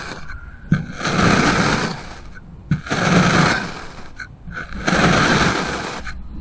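A steel kitchen knife slices thin layers from a solid pink kinetic sand block. Three gritty, broadband scraping strokes are heard as the blade presses and scrapes down through the compact sand. Each stroke begins with a sharp onset and is separated from the next by a short quiet pause.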